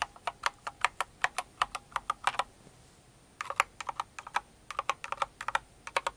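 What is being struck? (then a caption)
Mechanical keyboard with plastic keycaps. Fingers with long nails type on a full-size Cinnamoroll-themed mechanical keyboard with plastic keycaps, producing about 33 short, sharp plastic clacks centred around 1 kHz with bright tops. A burst of fast typing runs for about two and a half seconds, then a pause of nearly a second, then a second burst.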